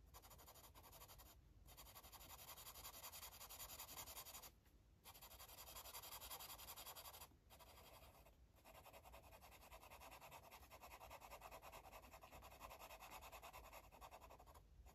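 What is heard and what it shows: A yellow marker rubs back and forth across a paper coloring book page, coloring in an area. The result is a steady, bright scratchy rasp of quick strokes. It drops out briefly a few times where the marker lifts off.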